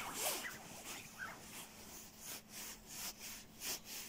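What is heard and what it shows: Fingertips scratch and rub the shell of a dark, soft padded quilted nylon down puffer jacket. The result is a steady, quiet, bright rustling with soft swells and whooshes rather than distinct hits.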